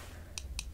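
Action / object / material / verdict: tap / eyeglasses frame / unknown / none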